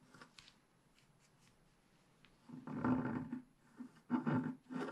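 A wooden stick scratches the leaf areas of a black-coated scratch-art paper page lying flat on a table. After a quiet stretch of faint light ticks, several louder, rasping scratch strokes follow in uneven bursts, each a dry, gritty scrape with a low hum-like tone under it.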